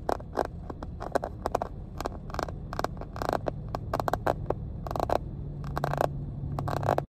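Long painted nails scratch and tap along the textured surface and edges of a small, hollow, cream hard-plastic first aid kit case. Quick, bright clicks and short scrapes come in an irregular stream over a steady low hum.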